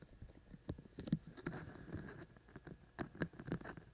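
Fingertips of both hands scratch and tap the outer shells of the white silicone ears on a binaural microphone. Quiet, close, low-heavy rubbing and scratching is broken by short, dull taps that die away almost instantly, with a few sharper taps standing out.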